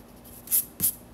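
A yellow pencil scratches lines on the white paper page of a spiral sketchbook. Three quick, bright, hissy strokes rise out of a quiet background, the second with a faint low thump as the pencil meets the page.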